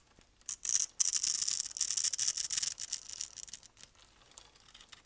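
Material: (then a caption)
Soap. A blade with a red handle scrapes across a dark brown, dry bar of solid soap held in the hand, its grid-carved surface crumbling into small cubes. The sound is a dry, bright, crackly scraping: a few short bursts, then a dense run of gritty scrapes that tapers off into faint crumbling near the end.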